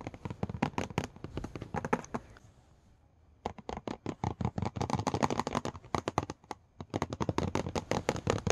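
Dense runs of sharp, dry clicks, some soft and some bright, with a brief quiet stretch in the middle before the tapping resumes. Nails and fingertips on a laptop's glass screen give short, unresonant ticks, damped by the thin lid behind.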